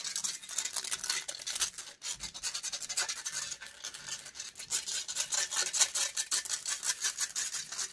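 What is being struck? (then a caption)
Metal mesh microphone grille. Long grey acrylic nails scratch a hollow metal mesh microphone grille in a rapid, aggressive stream of close, bright scraping strokes. The rasping is dry and high-pitched with almost no low end, and each stroke cuts off quickly with a brief pause near the two-second mark.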